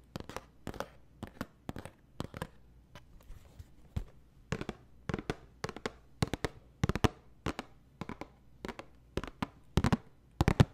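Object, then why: Small cardboard tissue box. A small, hollow, cube-shaped cardboard tissue box with a red floral print and tissues poking out the top is held close to the microphone and tapped and scratched with fingertips and nails. Sharp, dry, hollow taps come in quick, uneven bursts, with faint papery scratching and crackle between them. Each tap dies away almost instantly, leaving a low-heavy thump with little ring.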